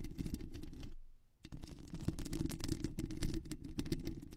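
Long acrylic nails on both hands scratch quickly and repeatedly across a soft, porous black foam windscreen over a studio microphone. The result is a dense, low-heavy rustling and crackling texture, with a brief quiet pause near the one-second mark before the fast scratching resumes.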